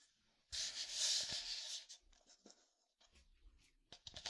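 A hollow red and black plastic squeeze water bottle with a push cap is held in hand near a binaural microphone and tapped and scratched with fingertips and nails. A loud, bright, hissing scratch runs for over a second, followed by softer, scattered scrapes and light taps. It ends with a quick cluster of sharp, crisp taps.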